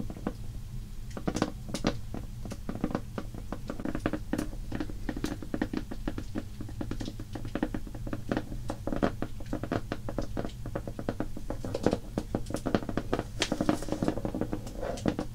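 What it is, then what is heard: Cardboard crayon box tapped and scratched. Long painted fingernails of both hands tap and scratch rapidly on a large shrink-wrapped Crayola 120-crayon cardboard box, which lies flat on a wooden table, hollow and full of crayons. The result is a steady patter of short, dry clicks with a hollow, low-heavy thud beneath and bright scratchy edges on the sharper taps.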